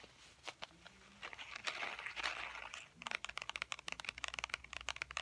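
A tan wallet with faux ostrich-textured leather is held in both hands and tapped with fingernails. A few scattered taps give way to a soft, crinkly scratching wash in the middle, then a quick run of sharp, dry, bright clicks with no ring.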